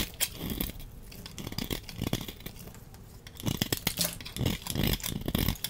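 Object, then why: Laundry soap bar. A utility knife blade scrapes shavings and chunks off a solid orange embossed laundry soap bar held in hand. The clip is full of dry, crumbly scraping and crunching sounds with bright, crackly edges and short bursts that grow louder in the second half.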